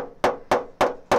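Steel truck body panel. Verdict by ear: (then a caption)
Tight. Four sharp hammer strikes land on the brow of a large collision dent in a GMC truck's steel body panel. Each one gives a bright, high-pitched metallic ring that dies away quickly. By ear, the ring reveals tension in the sheet metal at the dent's brow.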